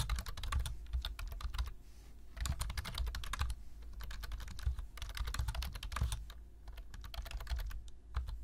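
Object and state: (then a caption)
Plastic computer keyboard being typed on. Fingertips tap the keys of a black plastic low-profile computer keyboard in fast typing, giving rapid, crisp clicks in bursts with brief pauses near 2 and 7 seconds. A steady low hum sits beneath the clatter throughout.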